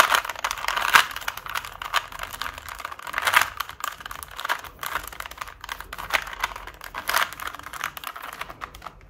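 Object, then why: Plastic Rubik's cube. A small 3x3 plastic Rubik's cube has its layers turned quickly by both hands using fingertips and nails. This produces a rapid, dense stream of bright plastic clicks and rattles, with a few louder bursts of turning. The sound centres in the upper mids around 1.2 kHz and has almost no low end.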